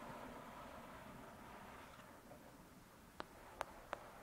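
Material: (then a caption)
Paper. Long pointed dark red nails scratch softly across the glossy card front cover of a thick paperback novel, *Lady Midnight*, a solid paper block lying flat on a fluffy surface, making a quiet, hissy rustle. Near the end come three sharp, dry taps with no ring.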